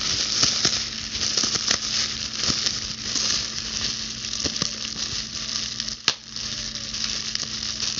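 Long blue acrylic nails scratch and pop the bubbles of a clear plastic bubble wrap sheet held close to the camera. A steady, bright, crackling rustle runs throughout, broken by scattered sharp snaps, with the loudest pop about six seconds in.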